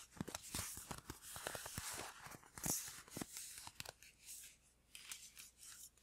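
A hollow green printed paper gift bag, held in the hand, is tapped and scratched with fingertips and nails on its flat side. The result is a quick, uneven series of crisp, papery taps mixed with bright, hissy scratching and crinkling that fades between strokes.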